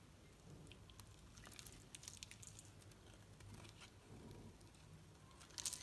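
A knife blade shaves the surface of a solid green soap bar held in the hand, producing quiet, dry scraping and crinkly crackles with bright, sharp clicks. A low hum sits steadily underneath, and the shaving grows louder and brighter near the end.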